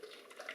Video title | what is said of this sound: Liquitex Acrylic Mediums Label Info | if I shake it, you can hear it's fluid inside